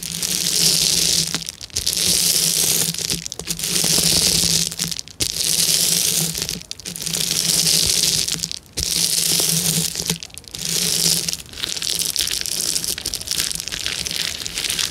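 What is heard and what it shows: Long nails and fingertips tap, press and scratch the bubbles of a clear plastic bubble wrap sheet. Bright, hissing crinkles rise and fall in repeated swells about every one and a half seconds, separated by brief quiet gaps, over a faint low hum.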